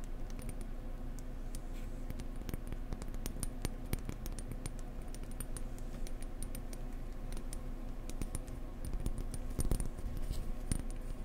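Gentle tapping on a blue decorative egg produces a rapid, steady stream of light, dry clicks with bright ticks and almost no ring. A low, steady hum sits underneath, with the taps growing slightly sharper toward the end.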